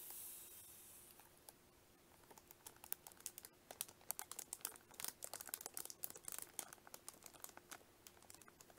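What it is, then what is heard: Cellophane-wrapped plastic case. A small, hollow pink plastic onigirazu lunch case, still sealed in clear cellophane wrap, is held on a table in both hands while fingertips and long nails squeeze and scratch the crinkly wrapper. A soft, bright hiss at the start fades, then gives way to a dense run of sharp, high crackles and ticking clicks over a faint steady low hum.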